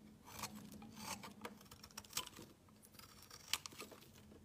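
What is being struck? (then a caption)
Soap bar shaved with a metal blade. A metal utility knife blade shaves a solid pale yellow oval bar of soap, making a series of irregular, crisp, bright scraping strokes. The strokes are dry and short with almost no ring, and a faint steady low hum runs underneath.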